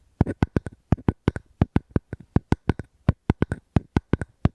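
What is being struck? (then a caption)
Wooden object. Fingers tap and scratch a wooden object held close to the microphone, producing a quick run of about 25 short, dry, low-pitched knocks with almost no ring. Each knock dies away instantly in a quiet, still space.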